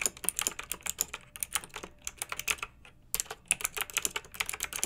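Fingertips with long nails type on a pink backlit plastic mechanical keyboard with round typewriter-style keycaps. Rapid, bright, crisp clicks with almost no low end follow each other closely, pausing briefly just before the three-second mark, then resuming.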